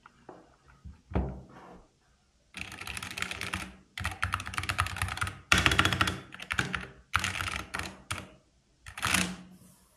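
A small 60% black backlit SteelSeries plastic mechanical keyboard with plastic keycaps and its cable attached sits on a wooden table while both hands type on it, fingertips striking the keys. A few scattered clicks and a single thunk open the clip, followed by a short silence. Then come dense bursts of rapid, bright, clacky typing separated by brief pauses.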